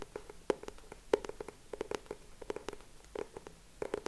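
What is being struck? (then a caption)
Cardboard hardcover notebook. Fingertips tap and scratch the cover and edges of a closed purple hardcover notebook with a cardboard cover, held in both hands. Quiet, irregular dry taps with a hollow mid-range knock that dies almost instantly are heard, with faint scratching in between and a few sharper, brighter taps standing out.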